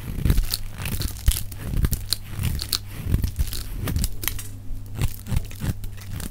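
A metal box-cutter blade shaves a solid, dry, oval bar of pink soap held in one hand, peeling off curls and flakes. Rapid, crisp scraping and crunchy tearing strokes come in uneven bursts over a steady low hum.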